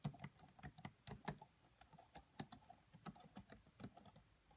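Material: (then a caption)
Plastic. Long manicured nails and fingertips of both hands tap rapidly on the black plastic chiclet keys of a red laptop with a hollow body. About sixteen short, quiet clicks follow one another in an uneven rhythm, each with a low hollow thud under a bright plastic tick that dies away almost at once.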